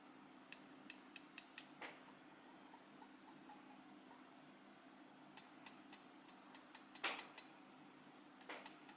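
The back of a small, solid gold-coloured metal pin badge with a pin clasp is held in the fingers and tapped and scratched with the tip of a steel cheese knife. About two dozen quiet, sharp, high-pitched metallic ticks are heard, broken by a few brief scraping strokes. A faint steady low hum runs underneath.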